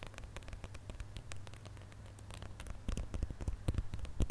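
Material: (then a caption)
Plastic. Fingernails scratch across the ridged glitter coating of a gold plastic star ornament held in both hands. Soft, crackly scratching and quick clicks ride over a steady low hum, growing louder and sharper toward the end.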